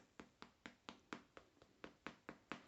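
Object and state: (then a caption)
Baked dough balls, hollow (well risen). Freshly baked, golden-brown bread dough balls, just out of the oven, are tapped twelve times in a steady rhythm. Each tap gives a short, dry, hollow knock. The hollow sound shows they have risen and are light and fluffy inside.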